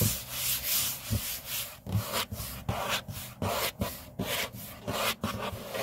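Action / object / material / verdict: scrape / laminate tabletop / laminate / none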